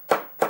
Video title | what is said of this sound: Knocking in a cricket bat | the noise levels it's already increased because this is quite a weak part of the bat. There's nothing behind it